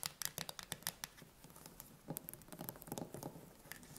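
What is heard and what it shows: Long nails tap and scratch fast on the metal lid and rim of a green-labelled steel tin can standing upright, closed and likely full. Sharp, bright clicks come in quick succession at first, then give way to a denser, rougher scratching with lower scraping tones. Each tap dies away almost instantly.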